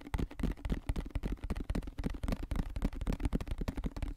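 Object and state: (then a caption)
Plastic lotion bottle. A medium white plastic lotion bottle with a green cap, its contents not visible, is held in both hands and tapped and scratched fast with fingertips and nails. About twenty quick, dull, bass-heavy thumps land in an uneven rapid rhythm, each dying away almost instantly, with a faint steady low hum underneath.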